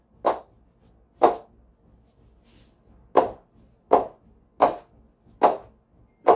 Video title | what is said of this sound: CA Plus 15K VS Gray Nicolls Blue MAAX - Ultimate Battle | just pinging off of it